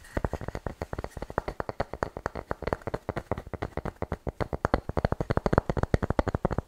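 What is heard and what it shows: A light, medium-sized wooden bowl, possibly bamboo, is held empty and upside down in both hands while fingertips and nails tap and scratch its hollow underside. About fifty quick, dry knocks sound in a brisk, uneven stream, each a short, low, hollow thump that dies away at once with no ring.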